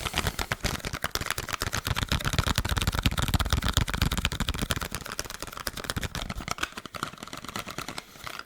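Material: Cardboard.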